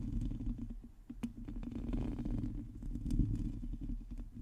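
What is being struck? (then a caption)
Metal mesh microphone grille. Long teal nails on both hands scratch a hollow metal mesh microphone head. The result is a dense, muffled low rumble of rubbing and scraping, broken by scattered sharper clicks and brief bright ticks.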